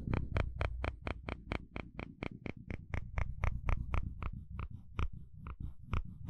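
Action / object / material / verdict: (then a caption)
scrape / plastic fine-tooth comb scraped with a wooden spatula / plastic / none. A wooden spatula scrapes across the fine teeth of a dark blue plastic comb, making a quick series of short, dry clicks at about four per second. Each click has a bright, high edge over a steady low rumble, and the pace slows and loosens slightly toward the end.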